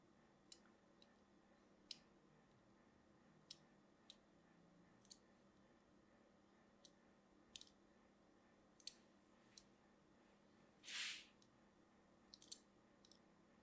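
A small, solid bar of purple-and-white striped soap, held in one hand, is scratched and scored with a thin metal needle tool held in the other. Short, bright clicks and ticks sound at irregular intervals over a faint steady hiss. Near the end comes a single longer, brighter scrape.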